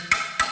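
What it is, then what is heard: Hollow-sounding ceramic wall tile (air gap behind). A ceramic wall tile is tapped twice with a piece of steel, giving two bright, hollow clicks with a short ring around 2.2 kHz. The hollow sound indicates an air gap behind the tile.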